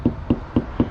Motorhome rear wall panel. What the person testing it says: see it's quite solid there